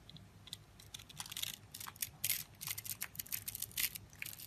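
A metal blade scores and cuts the surface of a hand-held solid rectangular soap bar with blue and white stripes, slicing it into small cubes that crumble off. The result is a rapid run of crisp, bright, dry crunches and scratchy clicks, irregular in spacing, over a faint low background hum.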